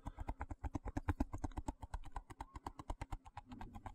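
A small, hollow, translucent white plastic box held in one hand is tapped and scratched with fingertips and nails. About 33 quick, dull, short taps sound in an uneven run over four seconds, with faint scratching between them.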